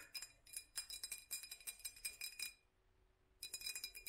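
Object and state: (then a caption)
Textured glass jar. A hollow glass jar with raised black dots and a metal screw rim is held in both hands and tapped and scratched with long nails. Quick, bright, glassy clinks and ticks come in a rapid run, each dying away almost at once, with a faint scratchy texture between them. They stop for a brief near-silent gap with only a faint low steady hum, then resume.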